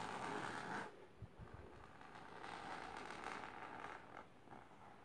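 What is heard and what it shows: Long silver nails scratch the fabric of a large pink patterned fabric-covered storage box or ottoman, including near its lower edge. A dry, rasping scratch is loud for the first second, drops to a softer scrape with a couple of dull low thumps, then swells into steady scratching again before easing off.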